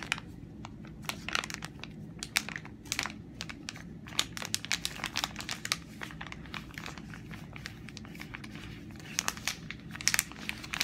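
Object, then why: Soft plastic film wipes packet. Long nails and fingertips tap, scratch and squeeze a hand-sized, flexible Simple cleansing facial wipes pack made of soft plastic film and full of wipes, so it crinkles. Dense, bright crinkles and sharp clicky ticks come in clusters over a faint steady low hum, with a few louder bursts near the start, middle and end.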